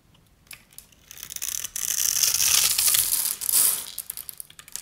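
A metal utility-knife blade scrapes across a solid oval bar of dry, striped purple and pink soap held in the hand, crumbling off its pre-scored grid. A few light ticks build into a dense, bright, crunchy crackling that swells and fades. The sound is almost entirely high and dry, with no low rumble.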